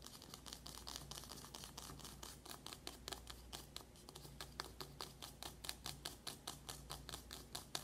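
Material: Cardboard.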